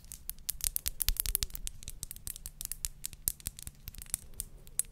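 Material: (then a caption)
Glass. Long nails rapidly tap and scratch a square clear glass perfume bottle with pink liquid inside and a silver cap. Dense, sharp, bright clicks with almost no ring mix with short scraping strokes over a soft, low background hum.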